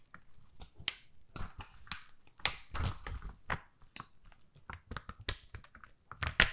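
Long nails scratch and tap the rows of pink plastic rhinestones on a flat, flexible rhinestone sticker sheet, which is held up, then held flat, and flexed. Quick, dry clicks and crisp scratchy crackles come in an irregular series, bright on top with soft low thumps and no ringing.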